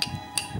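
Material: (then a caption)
Metal-cased cell. A good-quality 18650 lithium-ion battery cell is tapped twice with a piece of metal, giving two short, bright metallic ticks that die away quickly. The cell sounds solid, dense and full rather than hollow, as expected of a good cell.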